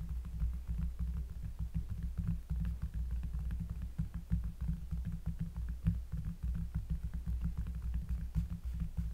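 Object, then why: Cork surface. Close-up fingers tapping on a cork surface produce a steady stream of soft, deep thuds with a bassy low rumble. The taps are short and dull, with no high ring.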